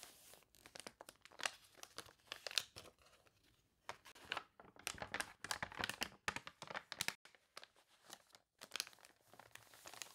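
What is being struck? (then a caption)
Paper catalog pages. Hands with long dark nails turn the water-warped pages of an open paper toy catalog on a table and press them flat. The wrinkled paper gives off quiet, dense, bright crinkles and crisp crunches, with short pauses between page movements.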